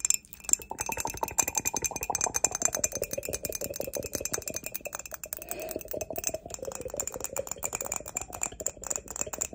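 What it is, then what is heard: Ceramic mug. Long nails tap rapidly and continuously on the sides and base of an empty grey glazed ceramic mug with a barcode sticker on the bottom. The result is a dense stream of quick, bright clinks with a high, faint ringing tone that cuts off almost instantly after each tap.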